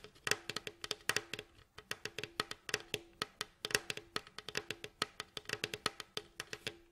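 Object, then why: Wooden mandolin bowl back. Fingertips and short nails tap and scratch the glossy varnished staves of a mandolin's rounded, hollow bowl back, striped in red and light wood, as it lies face down. About 38 quick, bright, clicky wooden taps come in irregular bursts. Each tap dies almost instantly, with a faint hollow ring near 430 Hz and light scratchy noise between them.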